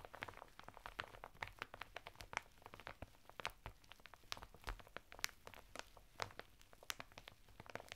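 Fingertips and nails scratch a flat bath mitt of coarse woven natural fibre through the thin printed plastic packet it is sealed in, the packet lying sideways on a table. The result is a quiet, steady run of crinkly scratching dotted with many short, bright crackles and clicks that stop dead with no ring.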